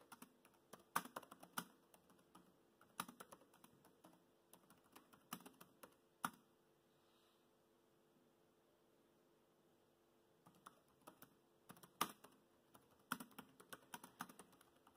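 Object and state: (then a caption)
Plastic laptop keyboard typing. Fingertips tap the black plastic keys of a laptop keyboard while typing, making quick, soft clicks that die away almost at once. Bursts of typing fill the first six seconds, stop for about four seconds of near-silence, then resume until the end.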